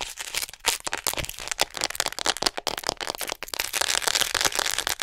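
Long nails tap and scratch quickly along the body of a hollow white plastic acupuncture human model held beside the mic. The result is a dense run of sharp, bright clicks and scratchy crackles with almost no low end, each tap dying away almost instantly.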